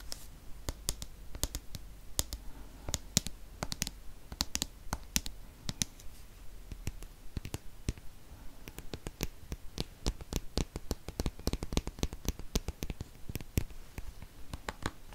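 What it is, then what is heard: Plastic cosmetic tube. A dark green plastic cream tube is held in the hand and tapped and clicked along its surface with fingernails. Sharp, bright, dry clicks come in quick, irregular runs with almost no ring, over a faint low hum.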